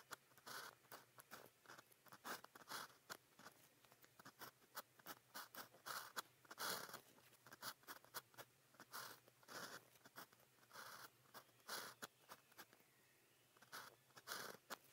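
A fine pen tip writes on a cream grid paper sheet resting on a desk, making quick scratching strokes. Short, dry, bright scratches come in rapid, uneven bursts with brief pauses between them, with almost no low end.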